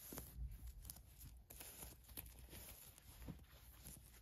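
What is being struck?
Polyester mesh shorts.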